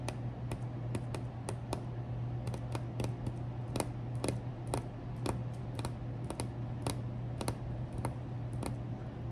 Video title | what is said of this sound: enjoy an MRE with me - ASMR, soft-spoken, tapping, rambling, crinkles | Very good for tapping, very firm.